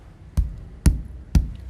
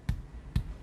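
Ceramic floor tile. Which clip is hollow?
The second.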